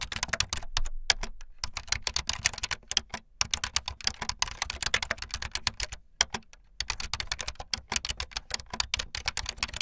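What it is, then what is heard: Plastic membrane keyboard being typed on. Fast typing on a full-size backlit plastic Bluetooth membrane keyboard with white and blue plastic keycaps and a hollow plastic body, keys pressed with fingertips and the tips of long painted nails. A dense stream of bright, dry, clacking taps with very short decay runs throughout, broken by a few brief pauses.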